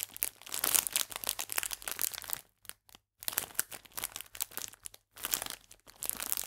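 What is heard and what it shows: A full clear plastic biscuit bag is gripped upright while fingers and nails squeeze and crinkle the film. The result is dense, bright, crackling crinkles in bursts, broken by a few brief silent pauses.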